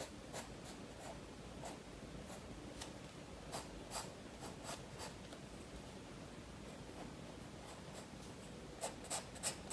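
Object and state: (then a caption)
Pencil drawing on a paper sketchbook page. A graphite pencil held in the fingers scratches and rubs lines across a page of a large spiral-bound paper sketchbook lying flat on a wooden table while drawing a fish. Quiet, irregular scratchy strokes with bright, crisp ticks from the pencil sit over a steady low hiss, and a few sharper strokes stand out near the end.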